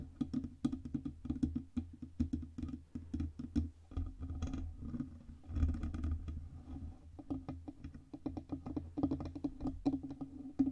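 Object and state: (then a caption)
Metal microphone body. Fingertips and long red-painted nails tap rapidly on the sides of the cylindrical, hollow, black-painted metal body of a Blue Yeti USB microphone, about 20 cm tall. Quick, dry, closely spaced taps with a low thump and a hollow tone around 270 Hz decay almost instantly, broken by a couple of brief, rougher, noisier stretches.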